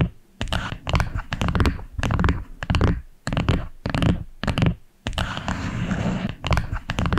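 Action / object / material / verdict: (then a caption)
tap / small wooden box / wood / none. Long acrylic nails tap the top of a small flat wooden box with a dark wood lid, striking in quick bursts of sharp clicks. Each click is a low, dull knock with a short crisp edge that dies away almost at once.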